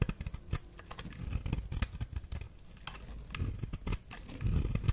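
A knife blade shaves and carves thin red flakes from a solid, dry, red star-shaped bar of soap held in the hand. Quick, crisp scraping cuts and soft ticks follow one another in a dense, uneven run over a low, dull rumble. Each stroke stops short with almost no ring, and the last strokes grow louder.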